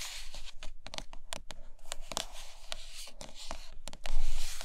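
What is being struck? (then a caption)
Rigid cardboard box with glossy lid. Long nails tap and scratch the glossy printed lid of a closed, white rigid cardboard iPad Pro box. Quick, crisp taps are heard over a continuous scratchy rustle, which grows louder toward the end.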